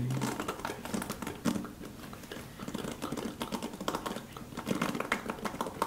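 Fingertips brush and flick across the ball-tipped tips of a handheld paddle hairbrush with dense, multicolored, flexible plastic bristles on a dark cushion base, held up close. The result is a steady stream of quick, dry clicking and crackling ticks, like light typing, with bright edges over a soft low rustle and occasional louder flicks.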